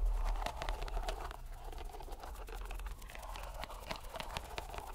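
A fist-sized, soft green rubber squishy stress ball in a white string net is squeezed and rubbed by fingers and palm. The result is a steady, low, muffled rumble with soft crinkly rubbing and many quick, faint crackles and clicks.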